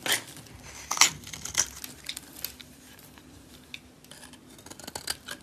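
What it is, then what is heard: Green bar soap being shaved. A solid green oval bar of soap, held in a hand with long dark nails, has its surface scraped into shavings with a metal blade. Bright, crisp scraping strokes come at an uneven pace, each short and dry with almost no ring, over a quiet background.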